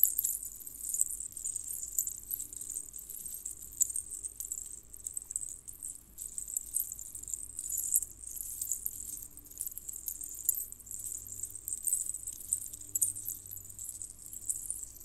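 A metal jingle bell necklace of small, hollow, colored bells strung on red cord is bunched and pinched between the fingertips of both hands. The bells are rubbed and jiggled against each other, making a continuous soft, bright jingling and rattling that stays mostly in the high range with brief, quick-fading chimes.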